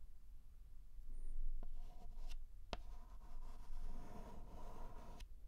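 A white chalk stick held in the hand writes curved strokes across a flat black chalkboard, scraping the board. Soft, steady scratching rises and falls with each stroke, punctuated by a few sharp ticks as the chalk catches, over a quiet low hum.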